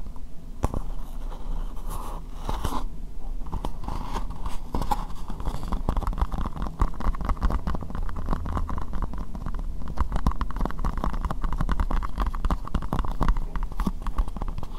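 An empty, hollow, translucent pink plastic square bowl, held in both hands, is tapped rapidly with long nails. The result is a steady, dense stream of quick, dull clicks and scratchy taps, heavy in low thuds with a faint hollow tone. Each tap dies away almost at once.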